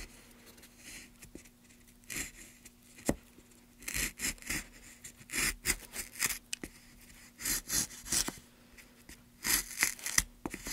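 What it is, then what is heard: Pine wood block being gouged. A gloved hand pushes a gouge along a groove in a solid light pine block, cutting and scraping the wood. Short, bright, hissing scrape strokes come in clusters with brief pauses between them, over a faint steady low hum.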